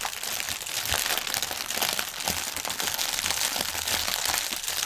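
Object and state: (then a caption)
Plastic air pillow packaging. Both hands scratch and tap fingernails across a strip of inflated clear polyethylene air cushions lying on a table, the hollow air-filled pillows giving under the film. A dense, continuous, bright crinkling and crackling holds at a steady level throughout, with little low end.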